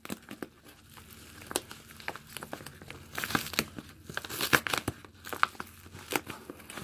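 Yellow rubber-gloved fingers crumple, crinkle and tear open the flap of a medium yellow padded bubble mailer made of kraft paper with bubble lining, hollow with a parcel still inside. Dry, papery crackles and sharp tearing bursts come in quick, irregular clusters, brightest and densest in the middle of the clip, over a quiet background.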